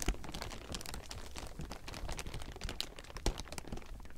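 Fingertips scratch and grip a large heap of thin, clear plastic sheeting, producing a steady, dense crinkling. Quick, dry crackles and rustles run continuously across a broad range from a low rumble up to a bright, hissy top, with a couple of slightly louder snaps standing out.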